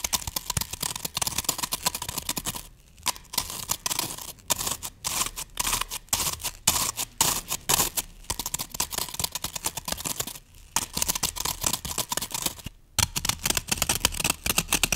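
Hands grip the sides of a solid green floral foam brick, then long nails scratch across its top surface. The result is a dense, bright, crunchy scratching and scraping texture with short, fast strokes, broken by a few brief pauses.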